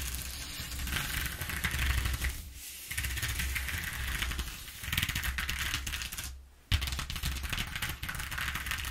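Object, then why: Corrugated cardboard sheet. Long nails rapidly tap and scratch the ridges of a ribbed corrugated cardboard sheet lying on a table. The result is a dense, crackling rattle of clicks with bright edges over a steady low hum. The sound drops away briefly twice before resuming with a sharp tap.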